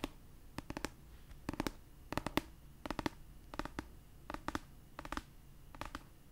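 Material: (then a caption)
Paper. Long purple acrylic nails tap and scratch the paper cover of an orange paperback copy of the novel "A Court of Thorns and Roses," held upright. Quick, dry clicks come in short clustered bursts at an uneven pace, each one sharp and dying away instantly over a quiet background.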